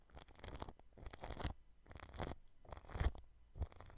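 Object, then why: Plastic cling film over a microphone. A paintbrush brushes the clear cling film wrapped around a white microphone at its grille. It makes five close, crinkly, rustling swishes separated by short pauses, with bright crackle on top and a heavy low rumble underneath.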